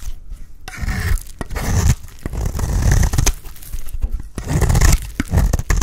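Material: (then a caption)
Soap. A blade scrapes crumbly flakes off the end of a solid, dry white bar of soap. Repeated dry, gritty scraping and crunching strokes are heard, with short pauses between them and a strong low-end thump beneath the rasp.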